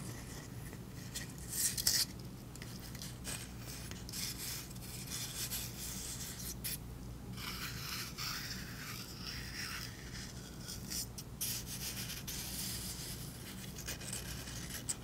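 Long pink nails scratch and rub a flat piece of brown corrugated cardboard, held up with its ridged edge exposed. The result is a quiet, continuous, bright rasping and scraping over a steady low hum, with a few slightly louder scratches standing out.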